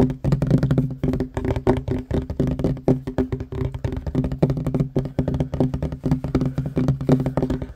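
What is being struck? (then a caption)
Wooden tabletop. Fingertips and short nails of both hands tap fast on a solid wooden tabletop. The rapid, dense stream of dull, dry knocks centers low around 258 Hz, with each tap dying out almost instantly and almost nothing bright above.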